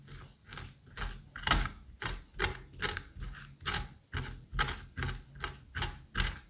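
A curette scrapes the seeds and fibrous pulp from the cavity of a pumpkin half in repeated strokes, a little over two per second. Each stroke gives a wet, slippery, bright scraping burst over a soft low thud. The rhythm is uneven, and each stroke dies away quickly.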